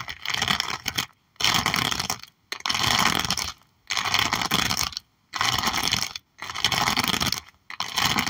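Long nails tap and scratch across a clear plastic sleeve covering a sticker album page with horse stickers. The result is bright, hissy, crinkly scraping that comes in repeated bursts separated by brief silences.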